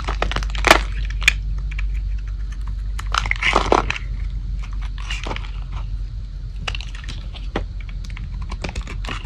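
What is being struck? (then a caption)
Bar soap scraped with a blade. A metal blade scrapes a thin, remaining piece of solid light-blue dry Old Spice bar soap held in the palm. Crisp, irregular crackling and snapping clicks sound as dry flakes break off, with a few louder, brighter bursts over a steady low hum.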